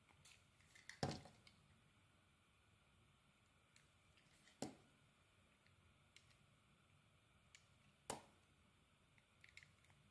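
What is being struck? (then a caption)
Glycerin soap bar cut with a metal blade. A small, solid, translucent orange glycerin soap bar embossed "PEARS" is held in one hand and cut and scraped with a metal blade held in the other. Three sharp, crisp cuts stand out at even intervals, each with a quick bright crackle that fades fast. Fainter scrapes and ticks fill the quiet gaps between them.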